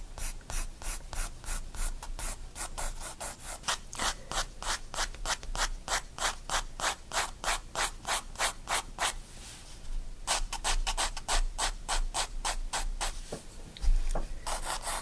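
A 4B graphite pencil held in the fingers shades long curved strokes across the page of a spiral-bound paper sketchbook resting on a wooden desk. Rapid, steady back-and-forth scratchy rubbing strokes come at about three per second, each a bright, hissing burst. The strokes pause briefly just before the 10-second mark, then resume, with a soft low thump near the end.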